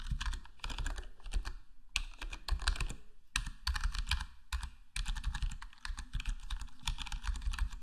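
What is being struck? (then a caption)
Plastic computer keyboard with foam-dampened case. Fingertips of both hands type steadily on a full-size black plastic HyperX Alloy Core gaming keyboard with square plastic keycaps and a foam-modded, foam-dampened case. The keystrokes come as a dense, rapid patter of muted, deep thocks with a light bright click on top, each dying away almost instantly. Brief pauses break up the bursts of typing.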